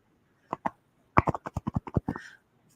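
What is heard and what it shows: A bottle of craft paint taken from the garage is shaken, giving two dull knocks and then a quick run of ten more, 12 short, low, thudding hits in all. The paint inside has thickened and dried out, so it will need a lot of stirring before it can be used.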